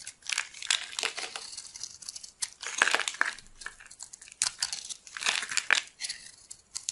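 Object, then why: Bar of soap. A solid bar of dry white soap, held in the hand, is carved and scraped with a metal blade into crumbly flakes. The sound is a run of bright, crisp scraping and crinkling strokes with almost no low end, each burst short and dry, rising and falling in loudness across the clip.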